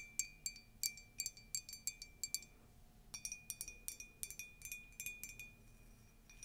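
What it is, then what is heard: Empty ceramic mug. A tall, white, conical Disney ceramic mug with a colourful text print, hollow and empty, is tapped with long nails on its glazed side. Quick, quiet, bright clicks come in two rapid runs separated by a short pause. Each tap brings out a sustained high, glassy ring.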